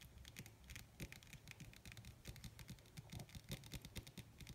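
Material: Leather.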